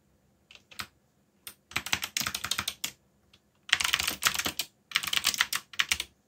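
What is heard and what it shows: Fingertips type on a backlit black plastic mechanical keyboard. The bright, dry keystroke clicks come in quick bursts separated by short pauses, with almost no low end and no ring after each key.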